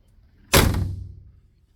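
A steel door on a 1936 Ford 5-window coupe is shut, giving a single heavy, low thunk at about half a second that rings out briefly with a low rumble. The door closes solid-sounding.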